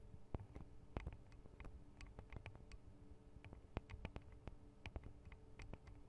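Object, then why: Thin metal microphone guard arms on a handheld recorder. Long acrylic nail tips tap on the tops of the thin metal microphone guard arms over the mic capsules of a Tascam DR-40 recorder. The result is a quiet, irregular patter of short, dry clicks, some sharp and bright, over a low, steady rumble, with almost no ring after each tap.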